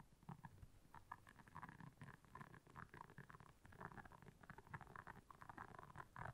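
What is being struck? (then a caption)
Silicone scrubber pad with soft bristles. Long nails scratch back and forth across the soft bristles of a round, flat, blue solid silicone scrubber pad lying on black fur. The result is a quiet, steady stream of dense, rapid scratchy rasps with a soft low rumble and a hollow midrange tone.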